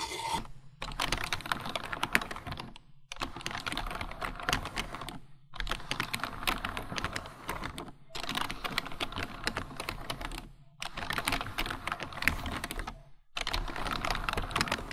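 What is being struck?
Plastic computer keyboard.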